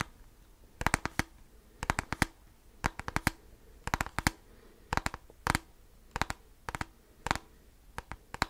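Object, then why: Plastic calculator casing. Fingertips and nails rapidly tap and scratch the top end of a handheld black plastic graphing calculator with a hollow casing. Short clusters of sharp, dry, bright clicks repeat at steady intervals, each click dying away almost instantly. A faint low hiss fills the quiet gaps between clusters.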